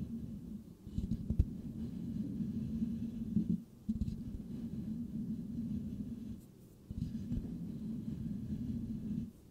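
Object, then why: Metal mesh microphone grille. Slow fingertip and nail scratching with both hands on the perforated metal mesh grille of a white Blue Yeti microphone with a hollow head. The result is a low, dense, rasping scrape centered low in pitch with almost no bright content, heard in steady stretches broken by short pauses.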